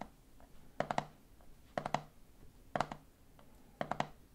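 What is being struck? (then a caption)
Plastic jar of peanuts with plastic lid. A hand grips the side of a medium clear plastic jar full of peanuts, then fingertips tap its red plastic lid. Four evenly spaced bursts of three quick taps each sound short, hollow and plasticky, with a mid-pitched knock that dies away almost instantly. Faint soft handling noise fills the quiet gaps between bursts.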